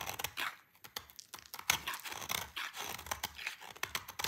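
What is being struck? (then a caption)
Bar of soap. A dry, solid dark green soap bar held in the hand is cut and shaved with a utility knife blade. It makes a rapid series of crisp, crunchy scraping and crackling sounds that are bright and dry, with very little low end. Each short cut dies away almost instantly.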